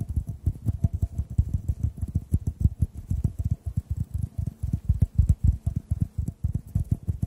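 A clear, hollow, empty glass tube is held horizontally and tapped with the fingertips over microphones. The result is a fast, steady run of soft, muffled low thumps with almost no ring and nearly all the energy down in the bass.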